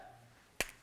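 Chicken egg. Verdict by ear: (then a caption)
Cooked. A boiled chicken egg is smashed against a person's forehead, giving a single sharp, bright crack with no splatter, which confirms the egg was cooked rather than raw. The crack is very short, ringing out in about a few hundredths of a second.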